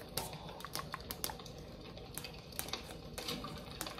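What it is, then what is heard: Tin sign tapped with fingernails. A flat rectangular "North Pole City Limits" sign, likely painted tin, is held up and tapped and scratched on its face with long acrylic nails. Quick, sharp, bright clicks and ticks sound irregularly over a soft low rumble, each dying away almost at once, with faint scratchy rasps between the taps.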